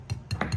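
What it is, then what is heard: Hard, overcooked chicken nuggets. Hard, overcooked room-service fried chicken nuggets are knocked against a surface five times, producing short, dry clinking knocks with a low thud and brief bright ticks that die away almost at once. The sharp, solid knocks show how hard the nuggets are, and they are judged barely edible.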